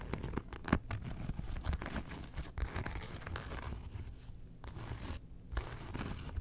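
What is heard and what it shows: Long nails scratch along the top zipper track and faux-leather front of a small, closed, hollow Porg zip wallet made of faux leather and felt, held in both hands. The result is a dense, continuous run of dry, crinkly scratching and rasping with a few sharper flicks, weighted toward the low end with very little bright content.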